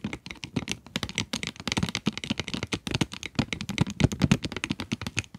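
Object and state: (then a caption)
Cardboard pencil box with plastic window, tapped with nails. Long fingernails tap rapidly across the plastic window and cardboard sides of a pencil box. The result is a dense, irregular stream of short, dry clicks and taps, each with a soft low thump and a bright edge that stops almost at once.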